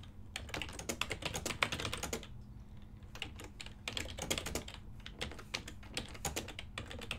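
Fingertips with short nails type continuously on a full-size ergonomic silver and black plastic desktop keyboard with hollow key switches. The quick, bright, clacky keystrokes come in fast bursts with a brief pause near the middle. A faint steady low hum runs underneath throughout.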